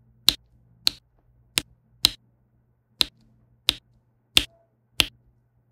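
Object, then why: Plastic pen tip pressing resin drills onto an adhesive canvas. A plastic diamond pen with a pink tip taps and presses small faceted resin drills down onto a flat adhesive diamond painting canvas. Nine sharp, bright clicks are spaced apart, each very short and dry, over a faint low hum.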